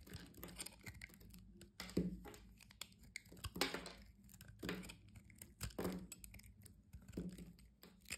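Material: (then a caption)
Soap. A utility-knife blade with a red handle cuts and scrapes a thin remaining slab of solid orange soap. It makes a series of dry, crunchy scrapes and crumbly cracks, some sharper and brighter than others. A low, steady hum sits underneath.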